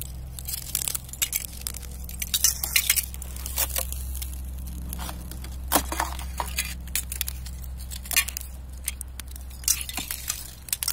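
A knit-gloved hand presses on a thin, clear layer of ice over grass that is already partly shattered, breaking the sheets into shards. Rapid, bright, glassy cracks and clinks with a crunchy, crinkling texture fire in quick succession, each snapping off almost instantly. A steady low hum runs underneath throughout.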